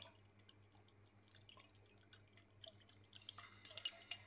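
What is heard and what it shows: Very long blue acrylic nails tap and scratch a small clear glass jar with a gold metal screw lid and dark contents inside. Quiet, bright, irregular clicks and light scratches come over a faint steady low hum. The taps grow louder and sharper toward the end.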